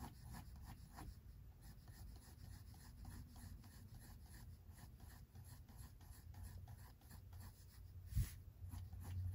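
A pink mechanical pencil tip sketches short, scratching strokes near the top of a face drawing on white drawing paper in a spiral-bound sketchbook. The soft, papery scratches sit over a steady low rumble, with one louder bump near the end.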